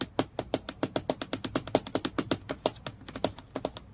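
Long fingernails quickly tap the flat face of a transparent acrylic plastic clipboard with a metal clip, lying flat on a dark surface. About 31 sharp, clicky taps come in a steady rapid stream, each dying away almost at once with a light hollow plastic tone.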